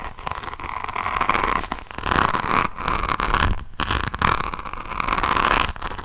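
Long nails scratch across the resin rhinestones on the cover of a hardcover diamond painting notebook held up close. The result is a dense, gritty crackling that comes in rising and falling waves, with a steady mid-pitched rasp running through it and brief pauses between strokes.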